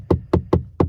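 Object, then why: Plastic car interior trim panel. Four sharp knocks on the hard plastic rear interior trim of a Mercedes-Benz EQA electric compact SUV, premium-looking plastic that sits beneath a suede-covered area. Each knock is a short, dull tap with a low thud and very little ring.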